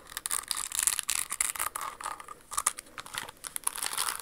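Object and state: Crystal-embellished shoe tapped with nails.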